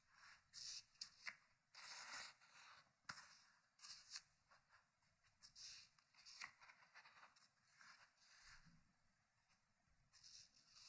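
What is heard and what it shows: Fingers turn the pages of an open, thick hardcover paper book resting on a wooden table. Each turn gives a crisp, bright paper flip and rub in short separated bursts at a quiet level, with almost no low end.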